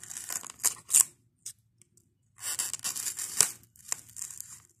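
Fingertips and nails scratch, squeeze and pluck foam beads from the crumbling edge of a white expanded polystyrene block. The result is bright, squeaky, tearing crackles in short bursts with brief silences between them, all high in tone with almost no low end.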